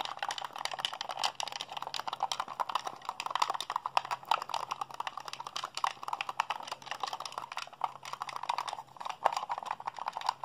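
A hollow white plastic Xbox handheld controller, held in both hands, has its buttons rapidly mashed by fingertips and thumbs. The result is a dense, continuous stream of short, dry plastic clicks and clacks centered in the midrange, with a faint steady low hum underneath throughout.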